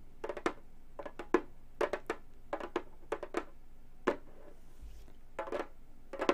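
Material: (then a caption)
Synthetic membrane. Long gold metal claws tap the synthetic head of a hollow frame drum, producing quick, dry taps in small bursts with short pauses between them. Each tap gives a brief mid-pitched thump topped by a bright clicky edge and dies away almost instantly.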